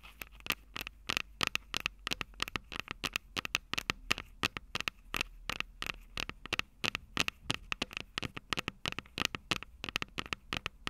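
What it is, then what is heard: Metal microphone capsules tapped with fingernails. Long purple nails tap and scratch the small metal microphone capsules of an upright Tascam DR-05 recorder from above. The result is a rapid, irregular stream of sharp, dry clicks and scratches, bright and crackly with a ringing tone near 2.7 kHz, each dying away almost instantly over a faint low hum.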